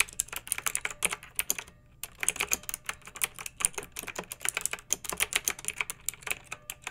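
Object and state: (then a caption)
Plastic mechanical keyboard. A pink backlit mechanical keyboard with round, typewriter-style plastic keycaps rests on a fluffy rug and is typed on with the long nails and fingertips of both hands. Quick, bright, clicky keystrokes clatter in a steady stream, with a brief pause just before the two-second mark before the typing resumes.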